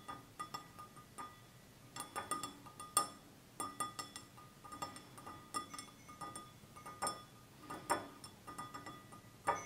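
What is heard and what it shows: A hand-sized, clear, hollow stemless wine glass with a red band near the base, apparently empty, is held in one hand and tapped with the fingertips and short nails of the other hand. It gives a quiet, irregular series of light glassy clinks and ticks, each with a short bright ring centred around 1.2 kHz that fades almost at once.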